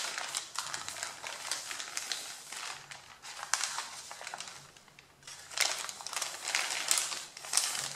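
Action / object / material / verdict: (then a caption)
scrape / stack of thin paper sheets / paper / none. Flat hands and fingertips rub, press and crinkle the top sheets of a stack of thin, crumpled white printed pattern paper. The result is a steady, bright, papery crinkling with sharp crackly bursts, easing briefly to a softer rustle around the middle before louder crinkles resume.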